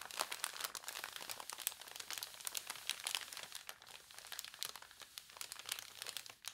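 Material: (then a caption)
Paper. An open newspaper spread on a table is handled and crinkled while long nails scratch across the newsprint. Dense, dry crackles and scratchy bursts sit almost entirely in the high, bright range with no low end. There is no lingering ring between them.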